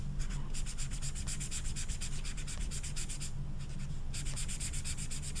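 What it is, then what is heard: Marker rubbing on velvet-flocked paper. An orange felt-tip marker is rubbed in quick strokes over the velvet surface of a small, flat, velvet-flocked paper poster card. It makes a fast, rhythmic run of soft, bright, scratchy rubbing over a steady low hum. The strokes briefly thin out near the middle before resuming at full pace.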